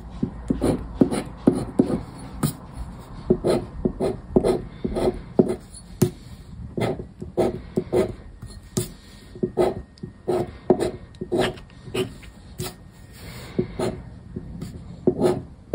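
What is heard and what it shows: A black disc scraper held in the fingers scrapes the coated star grid of a thin paper "50X" scratch card lying flat on a wooden table. Dozens of short, dry scratching strokes rasp in an uneven rhythm, with brief quiet gaps between them. Each stroke is a close, mid-toned scrape with a thin, brittle edge that stops almost instantly.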